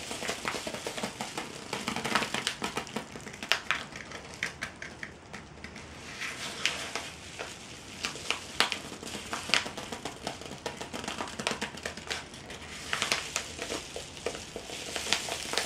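A medium-size yellow kraft-paper padded mailer, flat and seemingly empty, is held close while fingertips and nails rub, scratch and crinkle its surface. The result is a steady bed of bright, dry paper rustling, dotted with many short, sharp crackles and scratchy ticks that come and go in irregular bursts.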